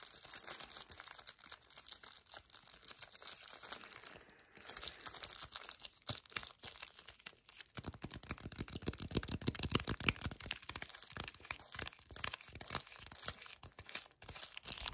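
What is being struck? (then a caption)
Cardboard chocolate bar sleeve. Fingertips and nails grip, squeeze and scratch along the edges of a yellow cardboard chocolate bar sleeve held in both hands with the bar inside. The result is a dense stream of fast, dry crinkling and scratching, bright and mostly high-pitched, with a busier, fuller stretch of rapid scratches in the second half.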